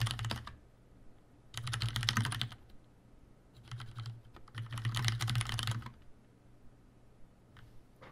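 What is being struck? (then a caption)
Plastic mechanical keyboard. A tenkeyless Leopold FC750R mechanical keyboard with Cherry brown switches, a plastic case, plastic keycaps and a hollow housing is typed on continuously with the fingertips of both hands. Bursts of quick, short clacks with a bright edge and a low hollow thud come in several runs separated by brief pauses.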